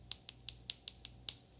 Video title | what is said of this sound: The Best Gluten-Free Yorkshire Pudding - Light, Crispy & Perfectly Golden! | Nice and hard. You can really hear how crispy it is on the outside.